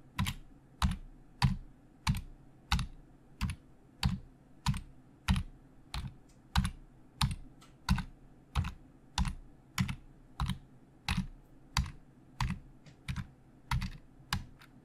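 Fingertips of both hands type on the hollow plastic keys of a black plastic Logitech full-size keyboard resting on a desk. A steady, moderately regular run of taps is heard, each a low hollow thump with a bright click on top. Each tap dies away quickly against quiet background noise.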